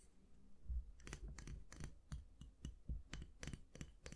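Fingernails tap and click the black plastic handle of a round styling brush and scratch its bristles. Quiet, sharp clicks with bright, brief edges come in an uneven series over a soft, low-heavy background, each dying away almost instantly.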